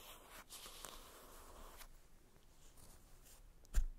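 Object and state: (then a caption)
Cardboard makeup palette box. Long red acrylic nails scratch and tap across the top of a small, hollow, flat printed cardboard box from a Benefit "Cheery Cheeks" blush palette lying on a fluffy makeup bag. A soft, airy scratching rasp fills the first two seconds, then fades to a faint rustle before one sharp, dry tap near the end.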